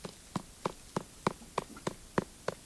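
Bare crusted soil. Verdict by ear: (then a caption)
Hollow. Nine evenly spaced, short hollow taps on a bare, crusted patch of soil, one of the last capped spots of ground, each a brief dry knock with a low body near 190 Hz and almost no ring. The hollow sound marks the soil as very unhealthy, and the crust has to be broken, with livestock hooves, for plants to grow.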